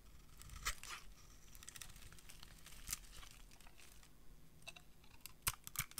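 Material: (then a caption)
Soap. A metal blade carves and scrapes shavings off a solid peach dry soap bar. Quiet, dry, crunchy scraping and crinkling rasps repeat throughout, with sharper, brighter crackles standing out near the start and end.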